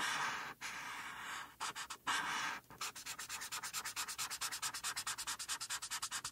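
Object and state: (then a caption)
Marker strokes on a paper colouring page. A felt-tip marker is rubbed over a flat white paper coloring sheet to color a mane. It makes a bright, dry scratching hiss: a few long continuous strokes at first, then a fast, steady run of short back-and-forth strokes.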